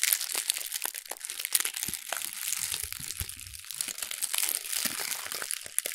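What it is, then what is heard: Thin paper sheet being crumpled. A small sheet of thin brown wrapping paper is held in both hands and crumpled and rubbed with fingertips and long red nails. The sound is a dense, bright crinkling with many quick, sharp crackles and almost no low end. Each crackle is dry and dies out almost at once.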